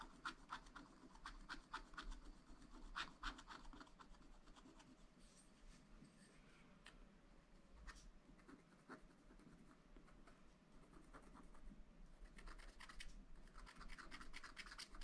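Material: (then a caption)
Coated paper. A wooden stylus scratches lines into a black coated sheet on a scratch-art paper pad. Quick, dry, bright scratching strokes come in short bursts at first, thin out into quieter, lighter scraping through the middle, and pick up again toward the end over a faint low hum.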